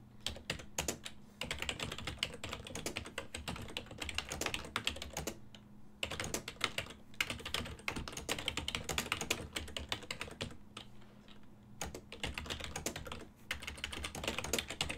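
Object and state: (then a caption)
Plastic computer keyboard. Fingertips type continuously on a full-size ergonomic silver and black plastic desktop keyboard with hollow key switches, producing rapid, bright, clacky keystrokes. The clicks come in dense bursts with short pauses near the sixth and fourteenth seconds, over a faint steady low hum.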